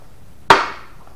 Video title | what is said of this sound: Big Block Mopar: The Build Begins | hear that sound that means it's there